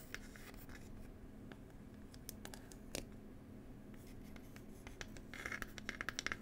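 Long pointed fingernail tips scratch across the wooden lid of a small, hollow wooden "Cherry Tea" box, making a quiet, dry, rasping scratch over a faint steady low hum. Toward the end, the scratching grows into a run of sharper, brighter scrapes and clicks.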